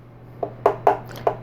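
Hardened, crystallized sugar caramel that was poured into a bread pan and cooled is tapped in the pan four times, giving short, sharp, glassy clicks with a mid-pitched ring that dies away quickly. The glass-like sound shows the caramel has fully set.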